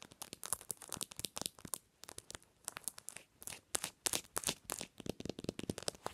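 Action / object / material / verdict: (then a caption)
tap / smartphone in hard plastic case with metal ring holder / plastic / none. Long nails rapidly tap a smartphone in a patterned hard plastic case and flick its metal ring holder. The result is a dense run of quick, dry, bright clicks with crinkly ticks in short bursts and brief pauses between them.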